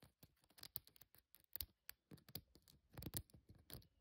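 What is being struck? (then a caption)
Braided esparto grass basket. Long fingernails scratch and tap the braided weave of a hollow, hand-braided natural esparto straw basket with a handle, holding dried flowers and loose raffia. About eighteen quiet, dry, crackly taps and scrapes come in quick, uneven bursts, each with a short low thump and a bright rustle that dies away almost at once.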